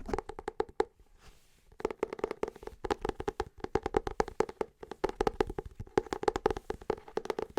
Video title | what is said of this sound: ASMR Book Haul - Tapping, Scratching, Rubbing book triggers. | we're going to have that little bit of more deeper wooden sounds